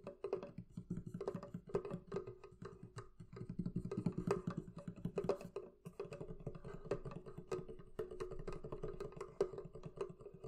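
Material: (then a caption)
Wood. Long nails tap and scratch across the wooden lid top and back sides of a medium, hollow, closed wooden barrel chest. A steady, rapid stream of quick, dry knocks lands with a hollow, woody body around 400 Hz, mixed with soft scratching. Each tap dies away almost at once.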